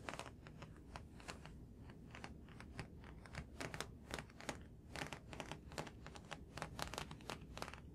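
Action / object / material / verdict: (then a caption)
tap / thick paperback book with a glossy card cover / paper / none. Fingertips and nails tap on the glossy card cover of a thick, solid paperback graphic novel held up close. The result is a quick, uneven stream of short, crisp clicks and soft thuds with bright edges, over a steady low hum.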